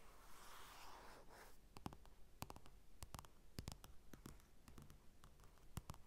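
Fingertips and short nails scratch across the cover of a flat glossy paper magazine (a Chanel Chance ad) lying on a dark table with a mini mic resting on it. A soft, airy scratching hiss fills the first second and a half, then gives way to a string of quiet, sharp taps and clicks with almost no ring. The taps sound thin and solid, not hollow.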